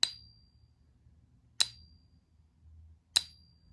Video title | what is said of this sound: Gold Plated Tungsten Maple and the No-ping Gold Maples - coin ping test | it still has that very, very distinct golden ting